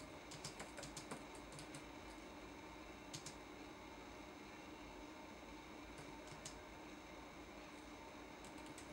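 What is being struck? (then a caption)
Plastic laptop keyboard keys. Fingertips tap the plastic keys of a red-backlit laptop keyboard in a typing action, making quiet, bright clicks. The taps come in a quick run at the start, then in short scattered bursts with pauses between. A steady low hum runs underneath the whole time.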